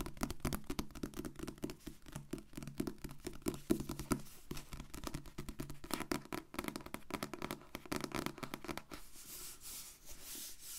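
Long painted nails scratch and tap the glossy blue card back cover of a solid, medium paperback book held upright. The result is a rapid, dense stream of dry taps and scratchy strokes with a soft low-mid body and very little ring. In the last couple of seconds it shifts to a steadier, brighter scratching.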